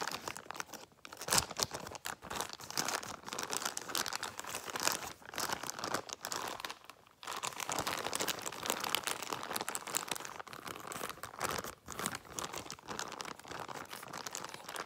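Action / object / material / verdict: scrape / plastic bag holding latex balloons / plastic / none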